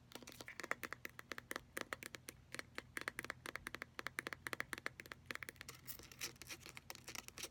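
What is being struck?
Plastic pump bottle of hand lotion.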